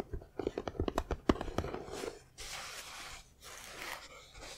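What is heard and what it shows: Fingertips and nails of both hands tap and scratch the side of an assembled, hollow Knight Bus model about 25 cm long, built from foam-backed printed puzzle pieces. A quick, irregular run of thirteen dull, hollow taps comes first, followed by bursts of steady, hissy scratching across the surface.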